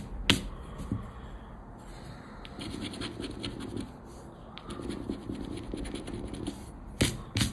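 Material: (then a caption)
Paper. A thin Aranha da Sorte paper scratch card lying on black cloth is scraped with a round black plastic scraper, and the hand briefly moves away. Soft, rasping scratching strokes come in two stretches in the middle of the clip over a faint, steady high tone. Sharp, bright clicks sound near the start and again at the end.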